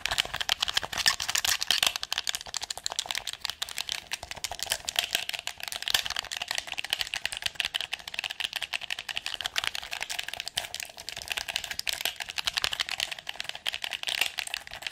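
A red PS4 controller of hard hollow plastic, handheld size and held in both hands, has its buttons and sticks pressed and clicked quickly with long acrylic nails and fingertips. A dense, fast stream of short, bright plastic clicks and taps continues throughout, with almost no low end and no ring after each click, centered around 3.5 kHz.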